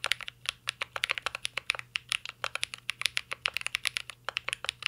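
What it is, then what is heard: Mechanical keyboard with plastic keycaps. Continuous fingertip typing on a mint-green Cyberboard R3 mechanical keyboard with a metal case and plastic keycaps. About 35 quick, bright, clacky keystrokes land in a steady, uneven rhythm, each sharp and dry with almost no ring and no low-end thump.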